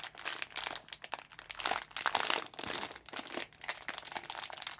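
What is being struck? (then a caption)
Plastic film sweet packet. Gloved fingertips tear and crinkle the top edge of a small, orange, printed plastic-film packet of Asda Mini Jelly Babies that is full of sweets. Bright, crackly crinkling comes in quick, dense bursts with almost no low end, rising and falling in loudness throughout.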